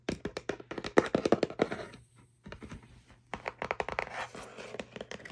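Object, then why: Small cardboard box. Long manicured nails and fingertips tap and scratch a small, hollow printed kraft cardboard box of bamboo cutlery packaging, possibly holding cutlery, lying on fabric. Quick, uneven bursts of dry, short tapping thuds mix with scratchy rustling, stop for a brief near-silent pause, then resume at the same irregular pace.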